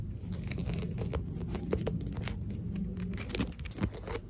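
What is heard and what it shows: Long acrylic nails tap and scratch a small, matte pink ceramic face vase that is hollow and empty. A steady, low-heavy scraping rustle runs throughout, punctuated by quick, sharp clicking taps with brief bright edges that die away almost at once.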